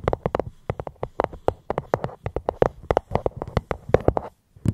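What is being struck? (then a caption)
Fruit box. Fingers tap gently on a fruit box held close to the microphone. A quick, uneven series of short, dry taps with a hollow mid-range knock and bright clicky edges dies away almost instantly. After a brief pause near the end, a couple more taps follow.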